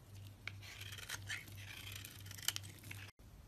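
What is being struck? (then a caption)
Bar of soap shaved with a metal blade. A metal blade shaves curls off a solid red-coated white soap bar held in hand, making a continuous bright, crisp scraping and crinkling with a few sharper ticks. A steady low hum runs underneath, and the sound cuts out briefly near the end before resuming.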